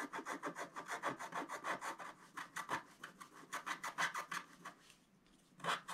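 A wooden stylus scratches cloud shapes into a flat, black-coated scratch-art paper sheet with fast, repeated short strokes. Each stroke makes a dry, raspy scrape centered in the upper mids with bright hiss on top. The strokes come in a steady but uneven run, break off into a near-silent pause around the five-second mark, then return for a final couple of scrapes.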